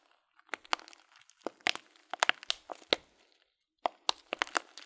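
Thumbs press and crinkle a tall, clear plastic bag full of loose dried fruit tea. The result is a dry, irregular series of sharp, bright crackles and crunches, each snapping off instantly with no low rumble beneath, separated by brief soft rustles and a few near-silent pauses.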